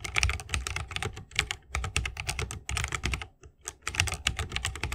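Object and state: Mechanical keyboard with bamboo case.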